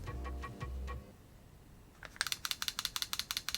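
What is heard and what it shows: An Asia Electric G Limited (WE-TECH OEM) M17 airsoft replica pistol, modeled on the SIG Sauer P320 M17, is shaken to check for loose internal parts. After a low tonal hum and a short quiet gap, it gives a quick series of sharp, bright rattling clicks. The rattle is abnormal: the official version makes no sound when shaken.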